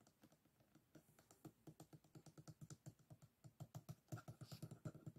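Fingertips and nails tap and flick along the closed rib edges of a folded bamboo hand fan resting on a table. About thirty-five quick, dry, low-pitched clicks with almost no ring follow one another in an uneven run. They grow louder toward the end.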